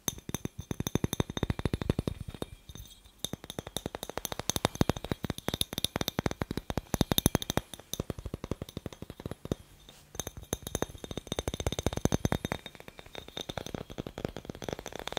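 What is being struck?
Glass light bulb.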